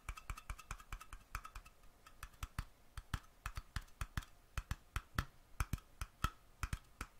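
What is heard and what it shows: Fingernails tap the metal screw lid of a small glass mason jar held sideways in the hand. The result is a quick, uneven series of sharp, dry clicks, each with a brief metallic ring near 1.2 kHz and a low thump underneath, decaying almost at once.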